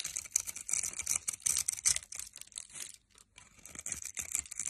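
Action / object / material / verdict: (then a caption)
scrape / bar of soap cut with a metal blade / soap / none. A metal blade cuts across a hand-held solid orange soap bar scored in a grid, crumbling off small soap cubes. The sound is a quick run of crisp, bright scraping crunches that pause briefly near the three-second mark, then carry on to the end.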